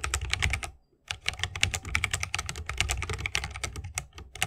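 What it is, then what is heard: Mechanical keyboard with bamboo case. Fingertips of both hands type rapidly on a 60% mechanical keyboard with a bamboo wood case, plastic keycaps and tactile Holy Panda switches. The result is a fast stream of crisp, bright clacks over a deeper low thock. The stream breaks off in a brief silent pause just before the one-second mark, then resumes steadily.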